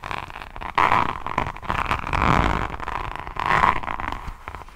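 Long nails scratch in short strokes across the green and gold faceted resin rhinestone drills on the front of a solid, roughly A5 hardcover diamond painting notebook. The result is a dry, crackly scratching centred around 1 kHz, rising into three louder swells with quieter gritty rasping between them.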